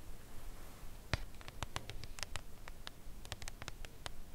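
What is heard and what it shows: Long acrylic nails tap slowly on the front face of a full Lindt Creation Crème Brûlée chocolate bar in its thin cardboard box, lying flat on a velvet cloth. Quiet, brief, dry clicks with bright edges sound at an unhurried, uneven pace over a soft low hiss, with one tap near the start standing out louder.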